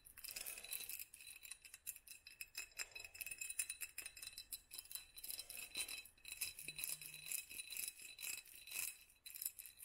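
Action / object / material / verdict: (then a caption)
tap / small glass jar with a studded sleeve / glass / none. Long nails on both hands tap and scratch a small hollow glass mason jar wrapped in a black studded sleeve. Quiet, rapid, bright clicks and scratchy strokes run continuously throughout, each dying away almost instantly, over a faint steady high tone.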